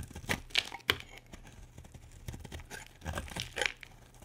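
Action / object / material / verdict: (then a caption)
scrape / bar of soap scraped with a knife blade / soap / none. A utility knife blade scrapes a solid pale pink bar of soap held in the hand, breaking off chunky flakes. Short, crisp, bright crackling scrapes come in quick bursts with quiet gaps between them, and each one dies away almost at once.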